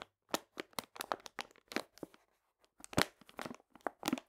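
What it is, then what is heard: Full paper sugar bag. A full paper cane sugar bag is scratched with fingernails, then laid on its side and squeezed by hand. The sound is a series of short, dry, bright crinkling and scratching bursts. A brief quiet pause comes before the louder, crunchier squeezes.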